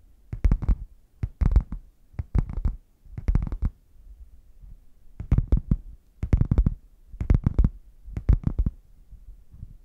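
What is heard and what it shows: Fingernails tap and scratch the front panel of a red padded faux leather zip case, hollow and closed, held upright. Quick clusters of dull, low, thumpy taps come in irregular bursts, each dying away almost at once, with soft scratching between them.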